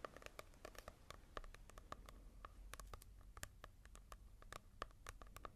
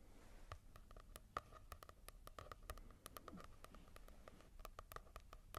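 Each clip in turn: First: glossy-covered paperback book, fingertip tapping. Second: matte-covered paperback book.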